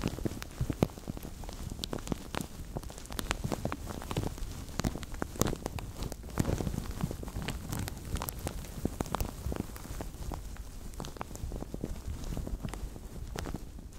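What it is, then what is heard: Thin plastic bag crinkled over a microphone. A translucent thin plastic bag stretched over a microphone is squished and crinkled by fingertips for about 14 seconds. The result is a steady run of dense, sharp crackles over a heavy low rumble, like rain pattering on a surface.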